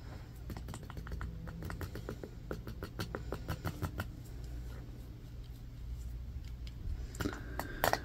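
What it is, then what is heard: Bamboo paddle hairbrush. Fingertips and short nails tap and scratch the bamboo back and pin bristles of a rectangular bamboo paddle hairbrush with a black cushion, lying on carpet and briefly held up. A quick run of short, dry clicks and scratchy ticks sits over a steady low rumble. A few louder, brighter taps come near the end.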